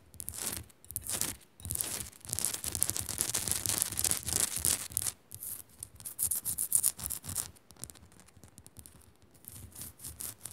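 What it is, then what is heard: Rock-salt lamp being scratched. Long nails scratch fast across the rough, flaky surface of a small, solid pink Himalayan rock-salt crystal lamp. The result is bright, dry, gritty rasping in quick irregular bursts, with brief pauses between strokes and a few light taps mixed in.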